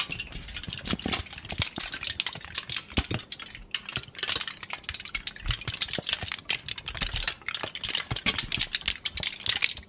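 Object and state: Aluminum foil sheet.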